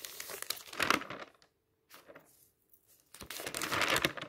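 A hand smooths and turns the pages of an open magazine of thin matte paper with its fingertips, making a bright, crinkly rustle. The paper sound comes in dense bursts, falls nearly silent for about two seconds with only faint touches, and then rustles strongly again.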